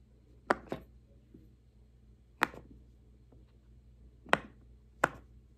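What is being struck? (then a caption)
Silicone push-pop fidget toy. Fingertips press the hollow bubbles of a large square rainbow silicone pop-it fidget toy resting on a wooden table, making them pop. Five short, sharp, dry pops ring out at irregular intervals, the first two close together, each with a bright midrange snap that dies away almost instantly against a quiet background.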